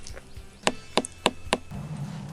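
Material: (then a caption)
Melon rind. A watermelon is knocked on to check whether it is ready. Four short, sharp knocks sound at even intervals, each dying away almost instantly, over a low background.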